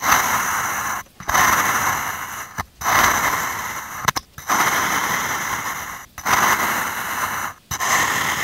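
A metal ice-cream scoop scrapes through packed blue-and-white kinetic sand in a small, hand-held clear plastic cup and scoops out a ball of sand. The sound is a dry, gritty, bright scraping hiss in long strokes, each about a second or more, separated by brief near-silent pauses.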